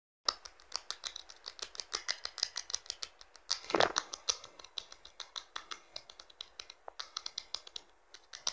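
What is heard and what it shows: A blue Infinix smartphone lies face-down on fabric while fingertips and short nails rapidly tap its thin, hollow-backed, glossy plastic rear cover. Dozens of crisp, bright, clicky taps follow in quick succession, each dying out almost at once with almost no low end. A louder scratchy burst comes just before the four-second mark.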